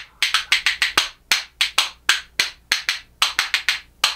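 A pair of reddish solid makaba birch wood percussion spoons, held in one hand, is knocked together in rhythm against the hand. Eighteen short, dry, bright clacks ring out in a loose, uneven pattern, each dying away almost at once.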